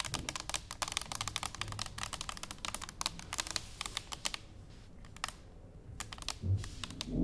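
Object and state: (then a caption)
Stainless steel canister tapped with fingernails. Fingernails on both hands tap an upright, hollow stainless steel cylinder canister resting on a wooden table. The result is a rapid run of short, bright, clicky taps with almost no ring, thinning to a few scattered taps partway through before picking up again.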